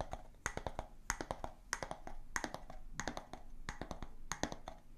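A clear, empty glass jar with a bamboo lid is tapped with long nails on its glass sides and wooden lid. Quick bursts of light, dry clicks come in an uneven rhythm, with bright edges and a faint tone near 930 Hz. Each tap dies away almost at once, and the level stays quiet throughout.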